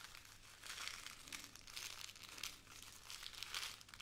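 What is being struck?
Plastic bag of glass beads.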